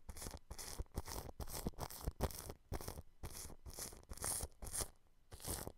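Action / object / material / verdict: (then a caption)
scrape / plastic cling film brushed with a bristle brush / plastic film / none. A large blue-bristled paintbrush brushes and scrapes clear cling film wrapped over a microphone grille. It makes a series of short, close crinkling strokes with a heavy low rumble under a bright, papery rustle. Brief gaps separate the strokes.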